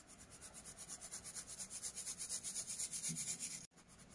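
Broken pieces of dyed orange and white pressed baking soda are shaken and swirled by hand in a round stainless steel mesh sieve over a bed of orange powder to sift out the dust. A bright, gritty rasping pulses steadily about twice a second and grows louder. It cuts off abruptly, then continues more quietly.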